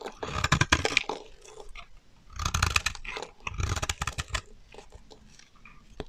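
A solid, dry pink bar of soap is held in the hand and shaved with a metal utility knife blade, peeling off thin curls. Repeated crisp, scraping crunches come in three bursts, each with a bright, crackly edge and a soft low thud underneath.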